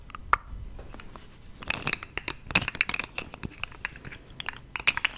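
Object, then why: Segmented plastic fidget toy. A small, hollow, rainbow-colored segmented plastic fidget toy about hand length, of the articulated slug or pop-tube type, is held close to the microphone and bent, twisted and stretched with the fingertips of both hands. Its segments give a quick run of sharp, dry clicks and crinkles that are mostly bright and high, with almost no low end. The clicks stop dead with no ring.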